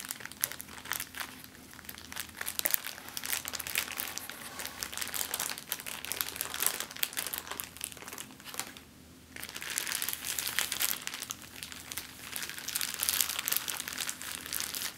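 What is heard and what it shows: An empty clear plastic zip-lock bag is crumpled, then spread out and stretched, then crinkled flat on a table with the fingertips. The result is a steady run of dense, bright crinkling and crackling, with a brief quieter pause partway through before the crinkling resumes.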